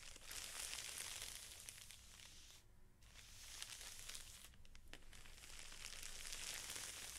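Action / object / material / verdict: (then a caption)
scrape / stack of felt sheets in a clear plastic wrapper / plastic film / none. A stack of felt sheets in a clear plastic wrapper is pressed and rubbed by both hands. This makes steady, bright crinkling with short quieter pauses near 3 and 5 seconds. A low rumble sits underneath.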